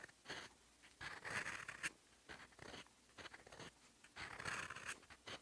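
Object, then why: Steel fountain pen nib on a paper sheet. A steel fountain-pen nib scratches across a sheet of lined writing paper, writing in teal ink. Bursts of dry, bright scratching and scraping come in short strokes, separated by quiet pauses.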